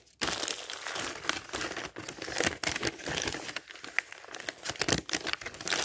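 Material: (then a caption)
Paper. Thin printed pages of a paper dictionary are ruffled and turned by fingertips up close. After a brief silence, a continuous, bright, papery crinkling and rustling begins, with frequent small crisp flicks and almost no low end.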